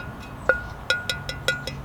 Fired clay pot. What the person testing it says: this stuff has a nice ceramic ring to it